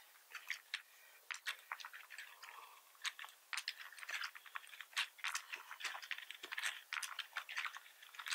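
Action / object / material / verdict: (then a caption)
tap / plastic membrane computer keyboard / plastic / none. Fingertips of both hands type on a full-size black plastic membrane computer keyboard with red keys and a hollow plastic housing, resting on a wooden desk. Quick, irregular, dry keystroke clicks and soft clacks come in a steady stream, with bright, thin tones and no low-end thump. Each tap dies away almost instantly.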